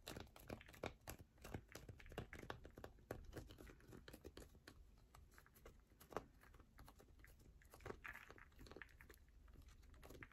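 A solid yellow bar of soap is scratched fast with long nails, making a quiet, dense run of dry scratching and crinkly ticks with occasional light taps. The sound is close and low-level, with short, sharp clicks that stop almost instantly.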